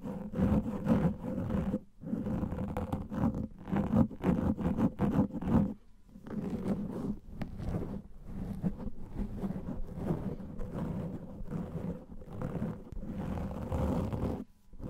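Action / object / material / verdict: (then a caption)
scrape / foam microphone windscreen / foam / none. A large black foam microphone windscreen is scratched with the fingernails of both hands, producing a dense, muffled, low-heavy rustling scrape. The scratching runs almost continuously for the whole clip, with brief pauses near 2 and 6 seconds before resuming at a steady level.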